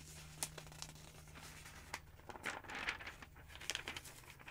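Fingers with long nails grab and flip the thin pages of a large open paper phonebook with yellow pages, producing quiet crinkling, rustling paper and several sharp, bright flicks and snaps. A faint steady low hum runs underneath.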